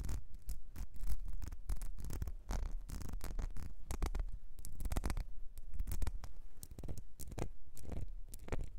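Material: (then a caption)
Glass. Long nails scratch the ribbed surface of a small, clear glass perfume bottle with a gold nozzle, partly filled. The result is a dense run of quick, rasping scratches with bright, crackly streaks over a heavy low rumble, steady throughout.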